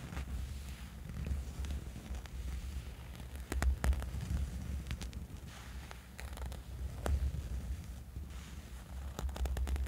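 Fingertips and nails scratch a dark, soft fabric sleeping eye mask lying on a bed. The result is a steady low, muffled rustle broken by quick, sharp, bright scratches.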